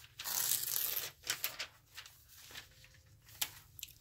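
An open, thin glossy-paper news magazine lies flat on a table while a palm rubs and presses its pages to crease them, and then fingers pull and tear the pages along the fold. A long, bright, papery rasp opens the clip, followed by a series of short, crisp crinkles and rips. The sound is almost entirely high hiss, with no low rumble.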